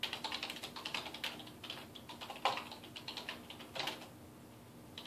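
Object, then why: Plastic computer keyboard. Fingertips type rapidly on the keys of a dark plastic desktop keyboard resting on a wooden desk. The result is a quick, uneven stream of light, bright clicks and taps with short decays. A few louder keystrokes stand out near the middle, and the typing thins toward the end.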